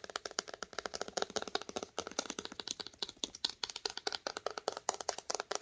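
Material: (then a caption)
Cloth, board. Long nails tap and scratch the cloth spine of a red cloth-bound hardcover book held on its side. About forty quick, dry taps come in an uneven rhythm, each a bright, crisp click that dies almost instantly, with soft scratchy texture between them and no low-end thump.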